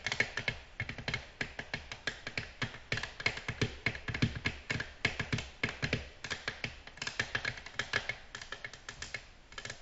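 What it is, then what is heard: Glass tabletop tapped with fingernails. Long natural nails gently tap on a flat, solid, glossy black glass tabletop. The result is a steady stream of quick, bright clicks in an uneven rhythm, each ending sharply with almost no ring.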